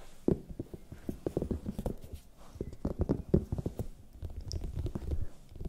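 A large, hollow, raw red bell pepper is tapped with long nails and fingertips while held close to the mic. The result is a quick, irregular run of soft, dull, low taps with short, muffled clicks and almost no ring or bright edge.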